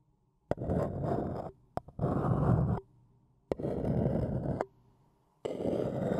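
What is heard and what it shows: A thin wooden stick scratches around the rim and inner wall of an empty-looking, hollow printed white paper cup held in one hand. Four bursts of rough, hollow-sounding scraping, mostly low in tone, each open with a sharp tap and are separated by short quiet pauses, with a couple of light clicks before the second burst.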